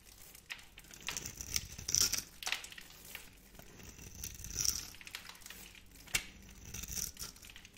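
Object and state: Dry bar soap being carved.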